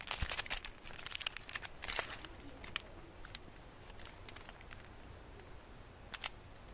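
Fingertips and painted nails rub, scratch and tap the gold foil wrapped around a solid rectangular chocolate bar held in the hands. Quick, bright foil crinkles and crackles come thick and busy in the first two seconds, then thin out to sparse, soft scratches with a couple of sharper taps near the end. The whole clip stays quiet and close.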